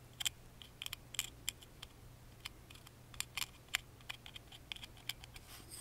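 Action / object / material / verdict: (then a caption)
tap / small wooden music box tapped with a wooden toothpick / wood / none. A wooden toothpick tip taps and traces the engraved grooves on the carved front panel of a small, hollow, laser-cut wooden music box held in the hand. Sharp, dry, bright clicks and ticks come in irregular bursts, each dying out almost instantly. A faint, steady low hum runs underneath.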